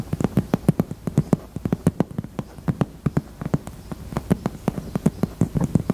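Long teal acrylic nails tap and scratch the front face of a pink, hollow, handbag-size heart-shaped hard-shell purse in faux leather held against the chest. The result is a rapid, uneven run of dozens of short, dry clicks with a low hollow body, separated by soft scratching.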